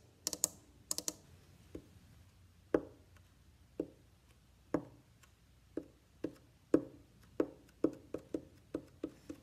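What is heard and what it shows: Fingertips tap the ribs and back of a hollow wooden violin body in an irregular series of soft, hollow knocks, some coming in quick doubles at the start. Each tap gives a short woody thud with a brief midrange resonance, and the first few carry a brighter click. The taps die away quickly into quiet between hits.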